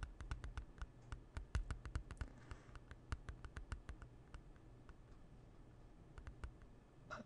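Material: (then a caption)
Plastic. Fingernails tap and click on a closed, hollow plastic CD jewel case with a dark cover, held in both hands. A quiet, irregular patter of sharp, dry clicks sits over a soft, low hollow thump. Each tap dies away almost instantly, and the clicks cluster at the start and thin out toward the end.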